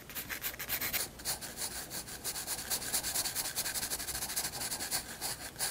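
A graphite 7B pencil held in the fingers shades a large white page of a spiral-bound sketchbook lying flat and solid on a wooden desk. Continuous, rhythmic rubbing and scratching strokes give a bright, hissy texture with little low end, pulsing steadily across the clip.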